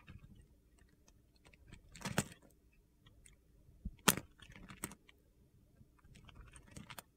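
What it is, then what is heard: Bar of soap being cut. A metal blade scrapes and cuts crunchy grid cubes off the remaining chunk of a solid yellow soap bar held in the palm. Soft, gritty scraping runs throughout, broken by scattered sharp, bright crunches that snap off quickly, the loudest near the middle of the clip.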